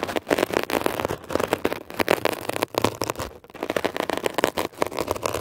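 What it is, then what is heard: Textured foam scrub sponge being scratched. A metal ear pick tip scratches and drags across a textured blue mesh-covered foam scrub sponge. The result is a dense, crackling scratch made of rapid short rasps, centered in the mid range with some bright hiss and little low end. It comes in quick bursts with brief dips between strokes.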